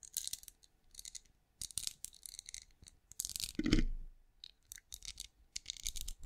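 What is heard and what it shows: Long acrylic nails scratch and tap the scales of a hand-sized cream pinecone-shaped wax candle, which appears solid and is held beside a microphone. The result is quick bursts of bright, dry clicking and scratching with short pauses between them, plus a louder, lower rubbing swell about midway through.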